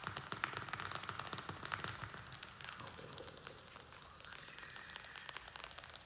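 Fingernails tap and scratch the thin plastic of a small square black plastic nursery pot holding soil and a string-of-pearls plant. The fast, irregular, bright clicks fade quickly, mixed with a crinkly scratching that grows quieter in the second half.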